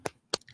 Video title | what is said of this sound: Free-form Friday 07-05-2024 | oh it's just bone on wood